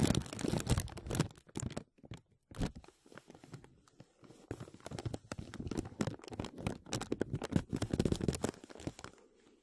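Fingertips press and rub a thin clear plastic film bag stretched over a microphone, making close, crackling crinkles. The crinkles come in dense, uneven bursts with brief quiet gaps near the two-second and four-second marks, then build again into steady crinkling. The sound is full-bodied and weighted toward the low end, with each crackle dying away almost instantly.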